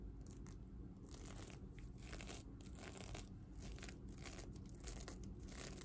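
Long dark nails scratch and brush the reversible sequins on a medium red, soft, stuffed heart-shaped pillow. The result is a continuous crisp, crackly rustle with bright scratchy bursts that come and go over a steady low rumble.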